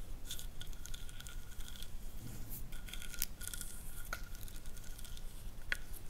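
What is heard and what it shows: Long fingernails with decorative gems on the hands scratch and tap along the ring-shaped ridges of a solid wooden massage roller. Soft, quick, fairly irregular ticking and scraping carry a thin tonal edge around 1.5 kHz, with occasional brighter, sharper clicks.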